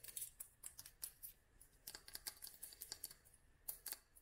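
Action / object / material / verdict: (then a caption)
tap / small glass dropper bottle filled with oil / glass / none. Long nails tap on a small clear glass dropper bottle filled with oil and dried flowers. The result is a quiet, uneven string of sharp, bright clicks that die away almost at once, with very little low end.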